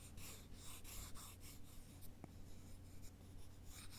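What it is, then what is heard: Wooden sticks rubbed together. Two thin, solid wooden sticks, held at the fingertips, are slowly rubbed along each other in a cross. Each stroke gives a soft, dry, scratchy rasp, with bright hiss in repeated bursts over a steady low hum. A brief tap-like click stands out near the middle.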